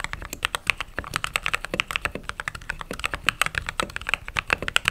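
Fingertips type on a mechanical keyboard with white or cream plastic keycaps and RGB underglow. A steady run of short, bright clicks and clacks with almost no ring, each keystroke crisp and sharp, with little low-end thump.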